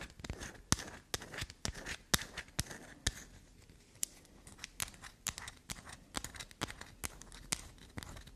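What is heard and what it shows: Long black nails scratch and dig into a solid black soap bar held near a table. A quick, uneven run of sharp, bright clicks and crisp scraping crackles repeats throughout, each snap dying out almost instantly over a soft, low hiss.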